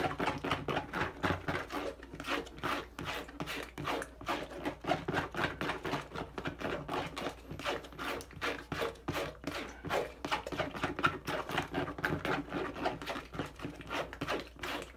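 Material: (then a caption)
Plastic. A teal and dark blue plastic bottle held in one hand is rubbed, scratched and tapped by fingertips. Rapid, irregular bursts of dry, crackly scraping and short taps follow one another with little pause, with no ringing after each touch.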